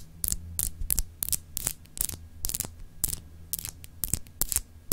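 Long acrylic nails scratch and tap a palm-sized solid clear glass globe paperweight with etched continents, held in both hands. About fifteen short, bright, dry taps and scratches come in quick bursts with almost no ring, over a steady low hum.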